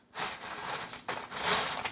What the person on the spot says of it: I think you can hear how crispy these are.